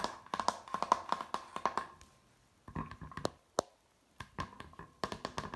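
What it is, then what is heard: Hardboard placemat. Fingertips and nails tap the glossy surface of a flat, thin, rigid hardboard picture placemat printed with a sailing-ship harbour scene and hung on a wall. Quick bursts of short, dry clicks carry a faint ring near 1 kHz, separated by brief pauses.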